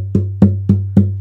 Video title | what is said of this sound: Vlog - Interview With Spencer Strickland | I think it's gonna sound really great. It's got a lot of ring to it.